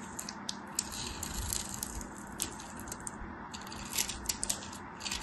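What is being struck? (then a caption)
Soap bar scraped with a thin metal blade. A thin metal craft knife shaves and scrapes flakes off a solid, palm-sized white bar of soap with a textured crosshatch surface, held in one hand. The result is a steady, dry, crackly scraping with a bright hiss. Sharp little ticks and crunches poke out irregularly as the blade catches the surface.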